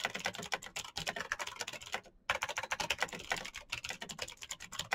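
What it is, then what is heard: Plastic mechanical keyboard. Fingertips of both hands type rapidly on a black plastic mechanical keyboard with clicky green switches and backlit keys. A dense run of sharp, bright clicks rattles on with a brief pause just after two seconds before the fast typing resumes.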